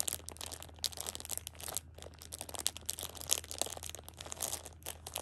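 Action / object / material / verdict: scrape / plastic-wrapped pocket tissue pack / plastic film / none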